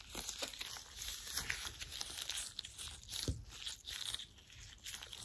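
Gloved fingers in thin white latex gloves rub, squeeze and squeak against each other. The result is a quiet, continuous run of bright crinkly rubbing and stretching sounds with occasional short squeaks, strongest in the high range with little low end.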